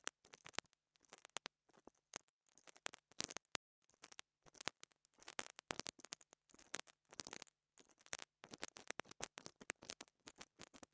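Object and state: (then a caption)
Plastic mini microphone capsule being scratched. A pink dental brush repeatedly scratches the top of a small black plastic lavalier microphone capsule held between fingers. Quiet bursts of sharp, bright scratching and crackly clicks come in rapid clusters separated by short silences, with almost no low end.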